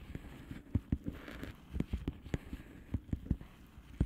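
A flat blue plastic bubble wrap envelope is tapped and scratched with long polished fingernails. The result is a quiet run of short, dull taps with low, muffled thumps and almost no ring. Soft scratching fills the gaps, and about a dozen distinct hits stand out over four seconds.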